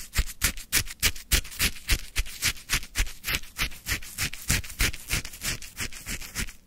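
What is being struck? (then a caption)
Lemon shaved ice in a plastic cup, wooden stick. A wooden stick scrapes and lifts lemon frozen shaved ice from a full plastic cup. It makes a quick, steady run of crisp, crunchy scrapes, about three or four a second, each a bright gritty hiss over a short low thump. Every stroke stops dead, with no ring after it.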